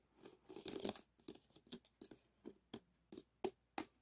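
Two wooden sticks tap and scrape the foil ribs of an arched, hollow aluminum foil flexible duct with wire ribs resting on a mat. A dense crinkly scrape comes first, followed by a string of separate, sharp, papery taps with bright crackle and very little ring.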